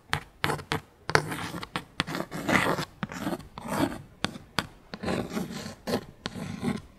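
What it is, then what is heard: Cardboard tag scratched and tapped. A small, thin, flat dark cardstock clothing tag reading "Barbilioni" is held in the hand and scratched and tapped with long pink acrylic nails. Sharp, dry taps, about seventeen, alternate with raspy scratching bursts that have a bright, papery edge. Each tap dies away almost instantly.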